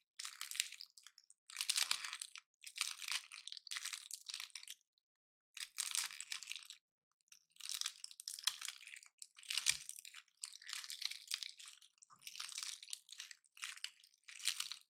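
Fingers and nails pry and crush the woody scales off a dry, palm-sized pine cone painted glossy black. Short bursts of bright, dry crunching and crackling come one after another, separated by brief silences.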